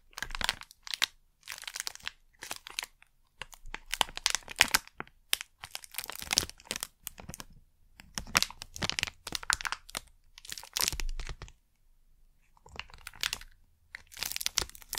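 A small crinkly plastic packet printed with Blu Tack logos is held in one hand and squeezed and crinkled with fingers and nails. Bright, crackling crinkles come in bursts with short quiet gaps between them, mostly high-pitched with little low end.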